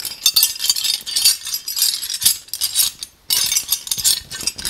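A ring of long, solid old iron skeleton keys is handled with the fingers, dangled and shaken so the keys clink against each other. Dense, bright metallic jingling comes in rapid bursts with almost no low end, pauses briefly near the three-second mark, then resumes.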